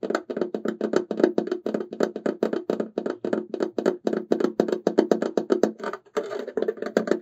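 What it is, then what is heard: Resin tissue box cover tapped with fingertips. Fingertips and short nails tap quickly across the patterned front of a hollow, ornate silver embossed resin tissue box cover with an oval opening, held upright. About 47 rapid, dry, hollow knocks with very short decay sound, centred near 360 Hz. Near the end the tapping briefly turns into a denser, scratchier patter before the knocks resume.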